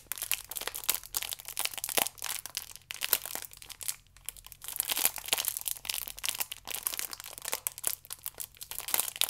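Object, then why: Plastic-wrapped stack of yeast sachets. Fingertips and nails rub and squeeze the ridged side of a plastic-wrapped stack of yeast sachets, producing dense, bright crinkling and crackling. The crisp plastic rustle continues in uneven bursts throughout, with a brief quieter gap near the middle.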